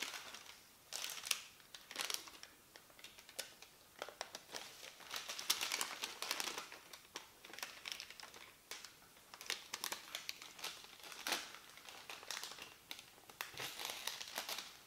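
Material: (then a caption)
Paper. A large, thin printed paper instruction leaflet is unfolded and lifted with both hands, crinkling as it flexes. Dense, quiet bursts of crisp, bright crackle and rustle come in irregular clusters. Each snap dies away almost instantly, with almost no low end.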